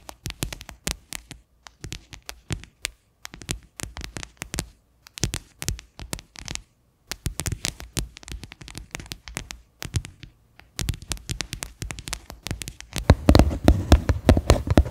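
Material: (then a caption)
Plastic. Fingernails tap the flat bottom of a medium, faceted white plastic bowl that sits upside down, hollow and empty. Quick, sharp clicks carry a low, hollow thump and die away almost at once. They come in irregular bursts separated by brief pauses, growing denser and louder toward the end.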